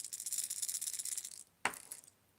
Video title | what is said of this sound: I Went Fishing This Week - Let's Chat About It! | gets that loud but higher pitch sound